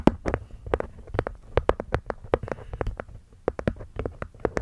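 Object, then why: Small hexagonal wooden box with cork lid. Long nails and fingertips tap the cork top and wooden edges of a small, hollow hexagonal wooden box. The result is a quick, irregular series of short, dry, hollow taps with a mid-pitched wooden resonance and almost no ring.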